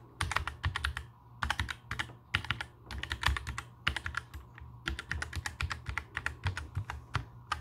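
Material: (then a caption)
Plastic. A compact black mechanical keyboard with plastic keycaps sits on a table while fingertips type and tap the keys. Bursts of quick, clacky keystrokes with bright tops and a low thock run in uneven runs with short pauses between them. Each keystroke dies away almost at once.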